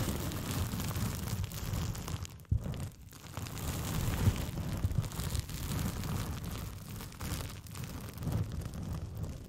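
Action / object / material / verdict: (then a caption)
scrape / thin paper sheet curled around a microphone / paper / none. A thin white paper sheet with pink polka dots is curled into a hollow, empty tube around a foam-covered microphone and scratched and rubbed with long painted fingernails. The result is a dense, muffled, boomy rumble of continuous scratching, with brief sharp pops and short quiet gaps near the 2.5 and 3 second marks.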